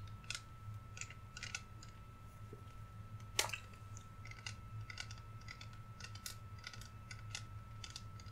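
A clear, hand-sized plastic "warm vanilla sugar" body mist bottle with a pump sprayer, hollow and partly filled with amber liquid, is held in both hands and tapped and scratched along its sides with fingernails. The result is a quiet run of short, bright, dry clicks and scratches with almost no ring, and one sharper tap stands out a little past the midpoint. A steady low hum and a faint constant tone sit underneath throughout.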